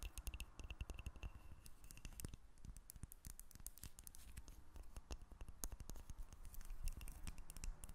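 A solid, hand-sized, rectangular cream-colored bar of soap, held above a table over a small microphone rig, is scratched and tapped with long red acrylic nails. The result is a quiet, dense stream of short, dry clicks and scratchy ticks with very little ring. Each tap carries a low thump beneath bright, crisp edges.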